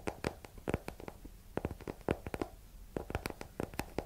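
A small, solid hardcover book with a yellow paper cover and exposed page block is held and tapped on the cover with long nails. The result is an uneven series of quick, dry, short clicky taps with a soft low thump beneath and almost no ring.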